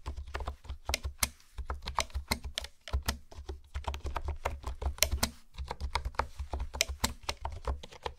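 Long nails and fingertips type and tap on a pink plastic keyboard with hexagonal honeycomb keys. The result is a steady stream of quick, sharp clicks with bright clacking tops over a constant low hum.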